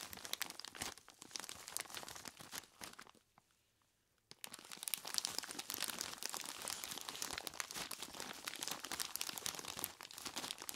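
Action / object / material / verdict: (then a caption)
shake / plastic bag full of ice cubes / plastic, ice / none. Hands in knobbly rubber monster gloves squeeze a large clear plastic bag full of ice cubes, making dense, bright crinkling and crunching. The sound stops for about a second just past the three-second mark, then resumes just as busily until the end.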